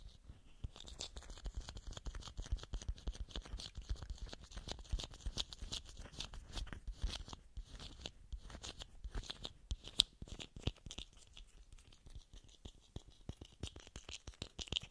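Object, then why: Small plastic screw cap. A small, hollow blue plastic screw cap is held between the fingers and tapped and scratched with fingernails. The result is a quiet, rapid stream of sharp, dry clicks and scratchy rasps with a bright, crisp edge. Each tap dies away almost instantly, with a faint thin tone lingering near 3.5 kHz.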